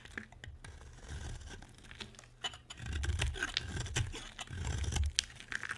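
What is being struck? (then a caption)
Bar of soap scraped with a blade. A utility knife blade carves and scrapes flakes off a solid white rectangular bar of dry soap. Crisp, crunchy scraping and tearing strokes come in bursts with a dull low rumble, with brief bright clicks scattered between them.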